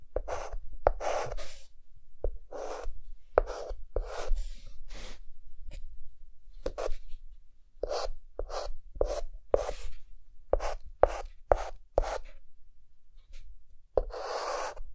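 A white chalk stick held in the fingertips draws lines across a flat, solid, dark green-black chalkboard. A series of short, scratchy strokes sounds, each a brief gritty rasp with a bright edge and a faint squeaky tone around 560 Hz, separated by quiet gaps. A longer, louder scrape ends the clip.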